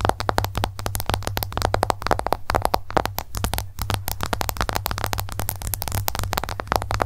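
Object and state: Smartphone glass screen tapped with nails.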